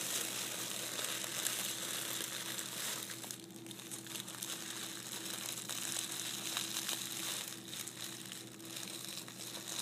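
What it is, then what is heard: Tissue paper being crumpled. White tissue paper is crushed into a ball between both hands, making a continuous, dense, bright crinkling that rises and falls in waves without separate hits. The sound stays fairly quiet, with a faint low steady hum underneath.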